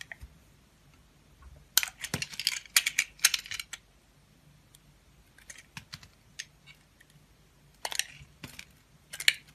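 A utility knife blade carves slices off the surface of a solid oval soap bar marbled in blue, pink and white, held in the palm. The sound is crisp, bright scraping and crackling in short bursts, clustered in quick runs separated by quieter pauses, with almost no low end.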